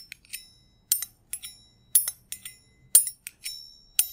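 A small, hollow, empty stainless steel double jigger held in the hand is tapped with metal thimbles. It gives bright, high, bell-like pings that ring only briefly. The taps come in irregular single strikes and quick pairs.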